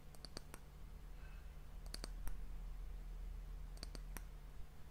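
The round, solid, polished dark wooden disc end cap of an hourglass is tapped with long nails and fingertips. Short, sharp, dry clicks come in three quick clusters over a steady low hum.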